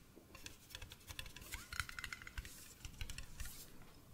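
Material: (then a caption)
Glass. An empty medium blue glass mason jar with a silver metal screw lid is held in the hands and tapped with fingertips and nails on the glass body and the lid, turning close to the microphone. A quick, uneven string of light, dry clicks and taps sounds, some with a short glassy ping near 1.5 kHz, over a soft low rumble of handling.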